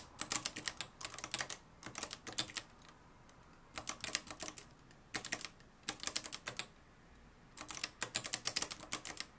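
Fingertips type on the dark plastic keys of a mustard-yellow plastic-cased manual typewriter with a metal mechanism. Rapid runs of bright, crisp clacks come in several bursts separated by brief pauses, each strike dying away almost instantly with very little low-end weight.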